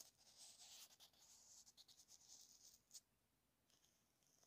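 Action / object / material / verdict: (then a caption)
scrape / plastic inline remote of a wired earphone / plastic / none. A small flat paintbrush sweeps its bristles over the small black plastic inline mic/remote of a wired earphone, which is taped onto a card. It makes a quiet, bright, hissy scratching that flutters in quick uneven strokes. The brush lifts briefly mid-stretch, a sharp brief scrape follows near the end, and then only a faint, thinner rustle remains.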